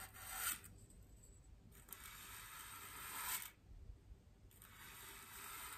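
A large, white, solid styrofoam wreath ring resting on a table is brushed with the stiff bristles of a small wooden-handled paintbrush. The strokes come as long, dry, bright scratching sweeps with quiet pauses between them, over a faint low background rumble.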